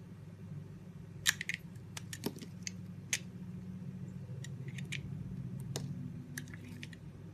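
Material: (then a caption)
Soap. A red box-cutter blade carves thick curls off a solid cream-white oval bar of soap held in the hand, cutting and scraping. Short, crisp, bright ticks and scrapes come at irregular intervals over a steady low hum.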